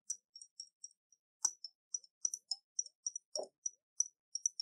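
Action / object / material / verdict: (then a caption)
tap / glass jar with water / glass / none. A round, hollow glass jar with a metal lid, partly filled with water, is shaken and tilted in the hands while fingernails tap on the glass. About 18 short, bright, high clicks and taps ring out with almost no decay, along with a softer, lower watery plop near the middle.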